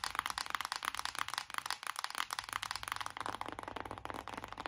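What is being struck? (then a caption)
Cardboard eyeshadow palette case. A closed BH Cosmetics cardboard eyeshadow palette, a flat hollow case, is tapped fast with long acrylic nails on its printed lid. The result is a rapid stream of dry, short clicky taps with a papery, hollow tone and no ring, bright and crisp with almost no low end.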